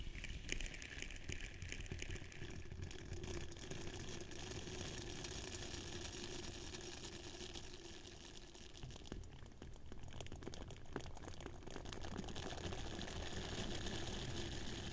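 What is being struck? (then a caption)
Silicone scrubber pad. A small purple silicone face scrubber pad is held beside the microphone, squeezed, and its bristles scratched with fingers and nails as it moves from one side of the mic to the other. The result is a dense, steady crackle of fast, irregular scratches over a soft low rumble. The sound dips slightly around the middle before picking up again.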